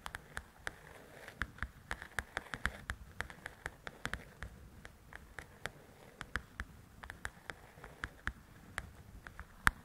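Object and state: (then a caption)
Paperback coloring book. Long nails tap and scratch the glossy cover of a large, flat paperback coloring book. About 35 quick, sharp, bright taps land in an irregular rhythm. Each dies away almost at once, with a soft, low scratchy rustle beneath them, and the whole clip stays quiet.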